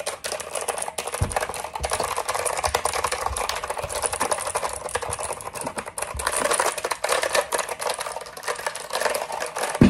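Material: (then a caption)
Plastic. A black plastic mechanical keyboard is held up in both hands while fingertips tap the keys very fast and fingers scratch across the keycaps. The result is a dense, continuous stream of sharp plastic clicks and rasping scrapes, with occasional heavier low thumps.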